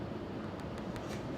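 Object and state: Nothing is struck.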